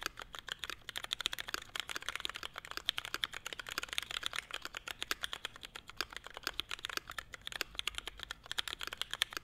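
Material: ABS plastic.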